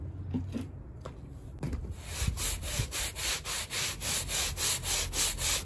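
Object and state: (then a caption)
Wet woven rug being brushed. A gloved hand scrubs a small, flat, fringed woven textile rug that is muddy, wet and spotted with soap, brushing its pile with a handheld bristle brush while it lies on a plastic sheet. After a quiet start with a few soft knocks, the brush settles into a steady run of about a dozen bright, hissing, rhythmic rubbing strokes.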